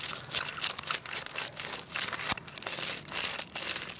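A segmented wooden crocodile wiggle toy is held by the head and wiggled with the fingertips on a tile floor. Its wooden segments clack rapidly in dense, dry bursts of bright, crinkly-sounding clicks. One sharper crack stands out near the middle, and there is almost no low end or ring.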